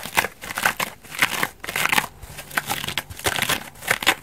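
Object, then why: Foam bath sponge. A hand-sized, dry, elliptical foam bath sponge with a white bubbly foam side and an orange backing is held in both hands and scratched and rubbed with long dark nails. Repeated bursts of crisp, bright, crinkly scratching rise and fall, each stroke ending quickly with little low end.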